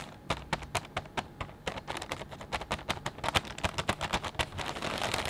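Fingertips press and squeeze a clear plastic bag full of potato chips, crinkling it. Sharp, bright crackles snap out in quick irregular bursts, and they thicken toward the end into a steadier, denser high rustle.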